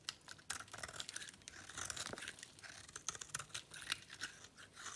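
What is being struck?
Bar of soap cut with a metal blade.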